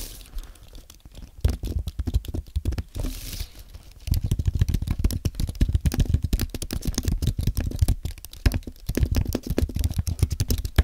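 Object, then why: Aluminium and plastic computer keyboard. Fingertips type steadily on a compact white aluminium and plastic Apple keyboard, producing a rapid stream of short, dull key taps with a soft low thump and quick decay. The typing is lighter for the first few seconds, then becomes firmer and denser for the rest of the clip.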